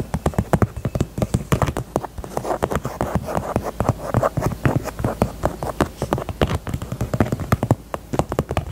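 Long nails tap rapidly and steadily on a small, hollow pink faux leather heart purse held sideways, for about nine seconds. Each tap is a short, dull, hollow thump centered low, around 100 Hz, that dies away almost instantly, with little bright content and a soft mid-range rustle between taps.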